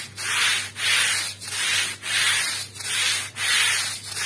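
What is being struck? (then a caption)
Woven rug scrubbed with a stiff-bristle broom. A small, fringed woven rug, wet and muddy, lies on a plastic sheet and is scrubbed with a long-handled stiff-bristle broom in back-and-forth strokes. About seven bright, hissing scrubbing swells rise and fall in a steady rhythm, with brief dips between strokes and almost no low end.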